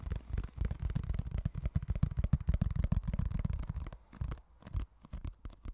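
Fingertips and nails tap and scratch the lid and side of a small, empty, hollow, clear rectangular plastic food container held in one hand close by. A rapid, irregular run of short, dry, hollow taps and scrapes is heard, deep and thumpy with almost no ring, thinning out and growing quieter over the last couple of seconds.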